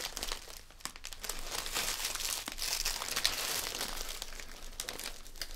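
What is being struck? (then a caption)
Metallic foil gift bag. Fingertips squeeze and crinkle a small red metallic foil gift bag, filled with a present and standing on a table, while its drawstring is pulled tight and tied. The result is a steady, irregular stream of bright, crisp foil crinkles and rustles, with little low end.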